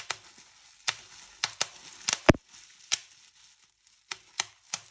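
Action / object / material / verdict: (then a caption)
flick / plastic bubble wrap sheet / plastic / none. Fingertips with painted nails pinch and pop bubbles on a clear plastic bubble wrap sheet. Ten sharp, bright snaps stand apart, and one pop near the middle is louder and fuller than the rest. Faint crinkling of the plastic fills the gaps between pops.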